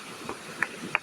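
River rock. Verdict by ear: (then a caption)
Solid. A river rock is tapped near a hole that looks deliberately drilled, giving three short, sharp knocks with a bright ring that dies away almost at once. The taps sound hard and solid, with a faint steady hiss underneath.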